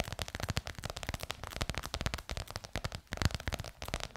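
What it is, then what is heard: Faux leather cover tapped and scratched with nails. Long nails tap and scratch rapidly on a bronze-gold crocodile-embossed faux leather cover stretched over a curved hollow form. The result is a steady stream of quick, dry taps with almost no ring, each carrying a low hollow thump under bright, scratchy clicks.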